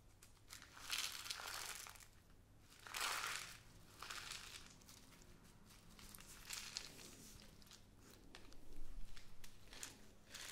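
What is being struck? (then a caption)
Plastic bag of glass seed beads. A small clear plastic bag with a cardboard header, full of pink glass seed beads, is squeezed, crinkled and shaken in both hands with long painted nails. The sound is a run of bright crinkling and rustling bursts over a low steady hum, with the beads rattling inside the bag.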